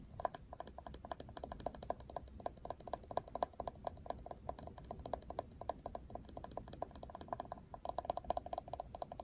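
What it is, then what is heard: Plastic paddle hairbrush. Fingers scratch the bristles of a plastic Barbie paddle hairbrush, then the brush is turned over and fingernails tap its glossy printed plastic back. The result is a quiet, steady stream of short, dry clicks and taps with a light plastic ring around 700 Hz, each dying away almost instantly.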